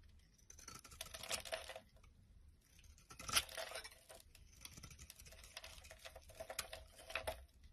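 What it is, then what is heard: Bar soap being scraped. A palm-sized, solid oval bar of pink and white striped soap is held in one hand while a black utility knife blade scrapes and chips at it, and crumbly flakes pile up on a wooden surface. Bright, dry scraping and crackly chipping come in bursts, with short crisp ticks and pauses between strokes.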